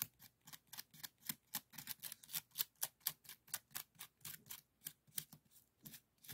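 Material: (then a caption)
Bamboo. A small hollow woven bamboo bokjori scoop with colored strips is held in the hand and scratched and rubbed with a bamboo stick wrapped in yellow. The result is a quick series of about 25 short, dry, bright scratching strokes at a loose, uneven rhythm. Each stroke dies away almost at once, and there is very little low end.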